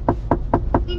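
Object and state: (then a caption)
Hard fibre car dashboard. Knuckles knock four times on a car's front dashboard, which is made of fiber rather than ordinary plastic. Each knock is a short, dull, hollow thud with little ring. The panel sounds hard and different from plastic.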